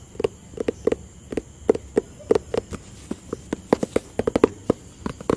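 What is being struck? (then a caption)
Cardboard box. Fingertips tap on a hollow white and blue cardboard product box, making about twenty quick, dry, hollow knocks with a mid-pitched tone around 430 Hz. Each tap stops almost instantly with no ring, and the taps come in uneven clusters over a faint background hiss.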